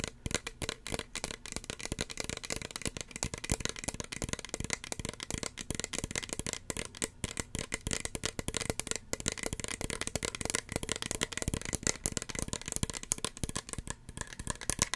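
Fingernails tap rapidly and continuously on a small, hollow red plastic spray bottle and its white cap for about fifteen seconds. The taps are sharp, dry, bright clicks with almost no ring, layered with a light hollow rattle.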